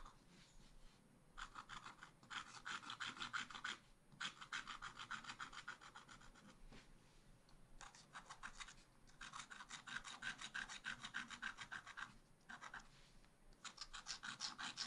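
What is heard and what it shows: A thin wooden stylus scratches fill strokes into cone shapes on a flat page of wax-coated scratch art paper with a black coating. Bursts of quick, bright, dry rasping strokes repeat at about 200 per minute, separated by brief pauses, and are soft overall.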